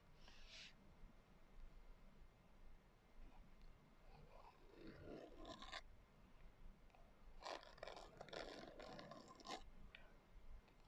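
Long acrylic nails scratch across the coarse glitter cover of a small, closed hardcover journal lying flat on a white table. The result is a quiet, gritty rasp in uneven bursts: a brief bright scrape at the start, a longer grainy scratch in the middle, and a denser, louder run of scratches near the end.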